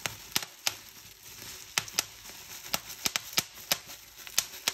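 Fingertips with painted nails pinch and pop bubbles on a clear plastic bubble wrap sheet. Sharp, bright pops crack out at irregular intervals over a soft, steady plastic rustle. Each pop snaps and dies away almost instantly, with no low-end weight.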